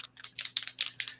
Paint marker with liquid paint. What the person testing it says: it sounds like it's thick in there? You shake it until it sounds like it's loose